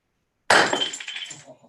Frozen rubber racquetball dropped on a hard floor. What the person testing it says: did not bounce it's shattered kind of like a light bulb or christmas ball